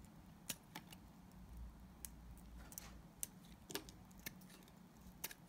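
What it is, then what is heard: Glycerin soap bar being shaved. A solid, translucent yellow glycerin soap bar is shaved with a utility knife blade. Short, crisp, bright scraping clicks stand out from a low, steady hum. They come at irregular intervals and stop almost at once.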